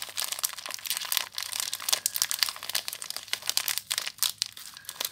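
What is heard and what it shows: Long nails scratch and crinkle the clear plastic wrapper on a small bar of soap, held close. A dense stream of bright, crisp crackles and rustles comes in quick irregular bursts, with almost no low end.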